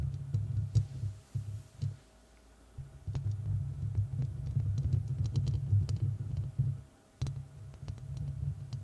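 Long red nails scratch the hollow, rounded metal mesh grille of a large studio microphone, at times with only one hand. The result is a deep, rumbling scrape with quick clicking ticks, broken by short pauses near two and seven seconds.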